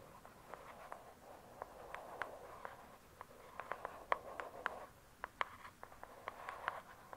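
Long acrylic nails tap quickly on the glossy, paper-covered cardboard cover of a thick, solid hardcover book lying flat, giving 21 quiet, crisp clicks. Each tap is short and dry, with a midrange knock near 1 kHz, a brief bright edge, and almost no low end. A soft, rustling hiss fills the gaps between the taps.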